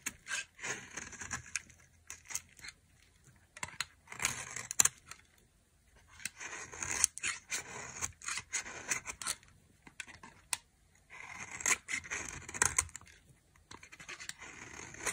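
A knife blade scrapes and carves shavings from a solid beige dry soap bar held by a hand with long glitter nails. Crisp, bright scraping and tearing strokes come in bursts with short pauses, with almost no low end.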